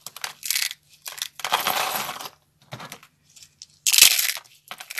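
Bare hands squeeze and crunch curled strips of dry, brittle, solid purple-striped soap into flakes over a wooden surface, beside a purple soap bar. It makes bursts of bright, crisp crackling, with a long sustained crunch early on and a sharp, loud crackle near the end, separated by brief quiet gaps.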